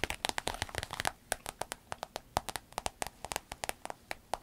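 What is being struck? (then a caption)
Holographic vinyl waist bag. Long acrylic nails scratch and rub across the glossy front panel of a rainbow holographic vinyl fanny pack, a soft, hollow and apparently empty waist bag lying flat. A dense burst of crisp, crackly clicks and scratches at first thins into evenly spaced sharp ticks, each dry and bright with almost no ring.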